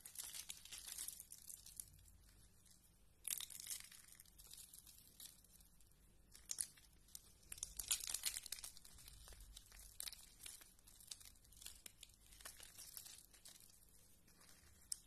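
Fingertips with red nails break and snap thin, curved green dry soap shavings, solid thin flakes, on a purple woven mat. Quiet, dry, bright crackling and crunching runs throughout, with louder bursts of crumbling near 3, 6.5 and 8 seconds and brief snaps that die away almost at once.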